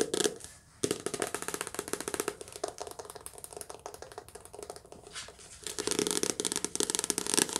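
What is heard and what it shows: Long nails tap quickly across the spine and glossy cover of a softcover paperback book, making a dense run of dry, clicky taps that die away almost instantly. The sound is bright with almost no low end; it drops briefly quiet just before the one-second mark, softens through the middle, then returns louder in the final two seconds.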